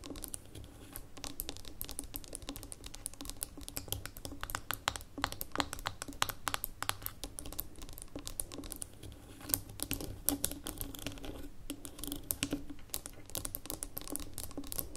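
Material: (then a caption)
Glass, metal. Long nails on both hands tap quickly on the gold metal lid and glass sides of a small labeled amber glass jar standing on a table. Dense, rapid, crisp clicks run continuously, each dry and short with a bright edge, over a faint steady low hum.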